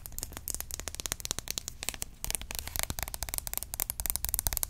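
A green opaque plastic roll-on deodorant bottle, hollow and partly filled, is held in the hand and tapped rapidly with long nails. About thirty short, crisp clicks follow in quick succession, each dying away instantly, and they grow louder after the first two seconds.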